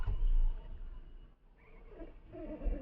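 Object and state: Nothing is struck.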